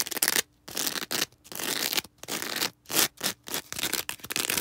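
Long red acrylic nails scratch and rub across a small star-shaped green foam sponge with a sparkly porous surface, held in the hands. Fast, bright, hissy scratching comes in quick bursts separated by brief silences, with almost no low end.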